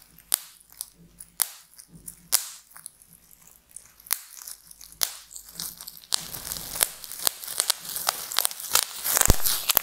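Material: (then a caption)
Plastic. A large sheet of clear, light, air-filled plastic bubble wrap is scratched and crinkled with long painted nails and fingertips, then lifted and squeezed in both hands. Sharp, bright crackles and scratches come in scattered bursts at first, with quiet gaps between them. Over the last few seconds they become a denser, continuous crinkling.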